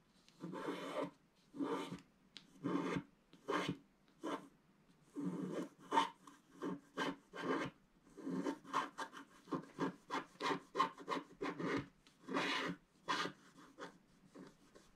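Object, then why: Wax-coated scratch-art paper scraped with a wooden stylus. A wooden stylus scratches across a flat, black wax-coated scratch-art sheet, lifting flakes of black coating. Around twenty short, dry raspy strokes come in separate bursts, with a papery midrange scrape and a brighter edge.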